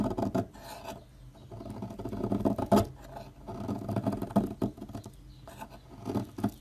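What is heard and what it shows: A metal knife scrapes and shaves the edge of a solid rectangular green Dalan olive oil bar soap standing upright, steadied by long nails. Soft, dry rasping strokes come in irregular bursts with a muffled, low-to-mid tone and quick fades between cuts.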